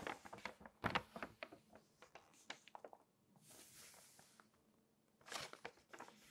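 Long nails scratch and tap across the pages of an open glossy paper magazine in a quick run of short, crisp clicks and scrapes. A page is then turned with a soft, breathy rush of crinkling paper, followed by a brighter crackle and a few more light taps. The sound is quiet and dry throughout, with almost no ring.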